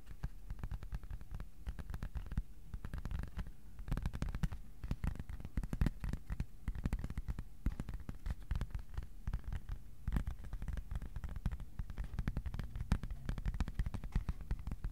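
A thin white cardboard sheet is held horizontally while fingertips tap rapidly on its underside and edges. The taps make a dense, continuous run of soft, muffled, low thuds with very short decay and almost no high or bright content, staying quiet throughout.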